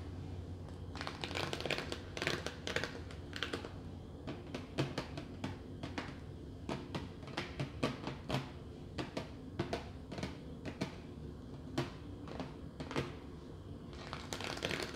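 Long nails and fingertips tap and rub the lid of a clear, hollow plastic clamshell bakery container about 30 cm long holding bread rolls. Sharp, dry clicks and taps come in quick irregular runs over a steady low background hum, with soft rubbing between them.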